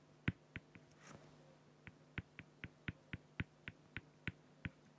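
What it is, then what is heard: Felt-tip pen strokes on an acrylic sheet. A felt-tip pen hatches feathers with rapid short strokes on a flat, clear acrylic plexiglass sheet. Fourteen short, sharp tapping strokes come in a fairly even rhythm, with one longer, brighter hissing scratch near the one-second mark. A steady low hum sits underneath.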